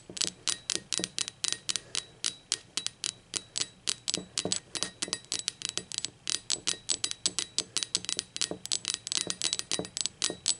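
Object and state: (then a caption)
Ceramic mug. Long acrylic nails tap rapidly on the base and body of a hollow, speckled teal ceramic mug lying on its side with its base facing up. Dozens of sharp, bright clicks follow one another in a quick, uneven rhythm. Each click dies away almost at once.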